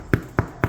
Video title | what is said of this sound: Step 012 - 2 stage bulk fermentation for sourdough bake completed | if you click on it and it sounds hollow, you've got enough moisture out of there